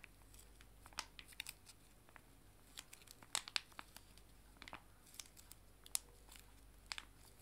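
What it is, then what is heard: Foil wet wipe sachets being crinkled. Two joined small, full foil-laminated wet wipe sachets are held in both hands and bent and crinkled with the fingers. This makes quiet, bright, scattered crinkles and crackles with sharp little snaps over a faint low hum.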